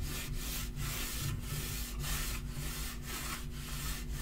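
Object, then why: Wood-grain laminate table top. A palm and fingertips rub and sweep back and forth across the flat surface of a dark wood-grain laminate portable table top. The result is a steady, breathy friction hiss that swells and dips with each stroke, over a constant low hum.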